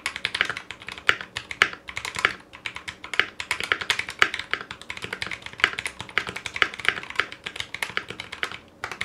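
A foam-lined 60% Clueboard mechanical keyboard in a metal case, with Zealios V2 62g switches, GMK ABS plastic keycaps and a coiled cable, is typed on rapidly with the fingertips of both hands. The result is a continuous stream of short, bright clacks and taps with almost no low end and very little ring after each keystroke.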